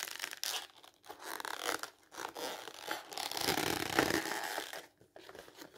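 Hands crumple and crinkle a printed black-and-white glossy magazine page into a wad. Dense, bright crackling comes in irregular bursts separated by brief quiet gaps, growing louder and fuller through the middle before trailing off into softer crinkles.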